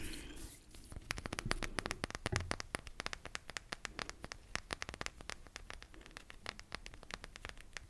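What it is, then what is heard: Selenite crystal wand. Fingernails scratch and tap along the fibrous surface of a long, solid, white selenite (gypsum) crystal wand about a hand's length, held in both hands close in front of the microphone. A soft scratchy rustle in the first second gives way to a rapid, steady run of sharp, bright clicks and taps that die away almost instantly, over a faint low rumble.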